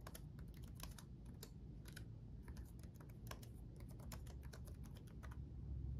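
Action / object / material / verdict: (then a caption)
tap / plastic laptop keyboard keys / plastic / none. Both hands type rapidly with their fingertips on the backlit chiclet keyboard of a black laptop, its plastic keycaps resting on a solid chassis. A quick, irregular stream of light, bright clicky taps sits over a steady low hum that carries most of the sound.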